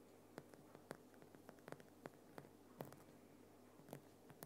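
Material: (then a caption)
Rock salt. Fingernails scratch quickly across the rough surface of a large, solid, lit Himalayan rock salt lamp. The result is a quiet run of short, dry, gritty scrapes and sharp ticks with bright edges. A faint, steady low hum sits underneath.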